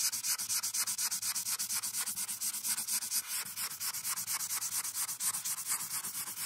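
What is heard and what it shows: A marker's felt tip is rubbed back and forth across a printed paper coloring sheet on a clipboard in dense, rapid strokes. Each stroke makes a bright, hissy scratch that rises and falls in a steady rhythm for the whole clip.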